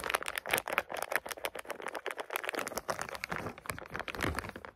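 A clear plastic bag full of small round green bath oil pearls is squeezed and shaken by hands. The beads rattle and click against each other in dense, rapid bursts, with bright plastic crinkling throughout.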